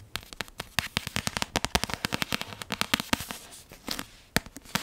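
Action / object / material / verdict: tap / paperback book with card cover / card / none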